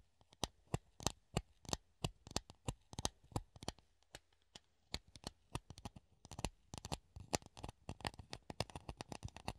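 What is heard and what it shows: A hollow clear plastic funnel held in the hand is scratched and tapped with the nails. It gives quick, irregular bursts of sharp, bright clicks and taps that die away almost instantly, with a faint scratchy texture between them. The taps grow denser toward the end, all at a quiet level.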